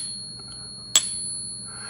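A real silver dollar coin is tapped once with a softwood stack stick, used because the softer wood is easier to hear and won't damage the coin. The single tap gives a bright, high-pitched ping over a faint steady high tone, marking the coin as genuine silver.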